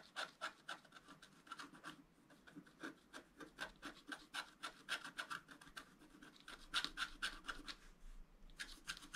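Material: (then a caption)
Waxed paper. A wooden stylus scratches the wax coating of a flat scratch-art paper sheet on a table, working near the lower figure area. Quiet, dry, bright scratching strokes come in a quick, uneven series of roughly four per second, each stroke short with no ring.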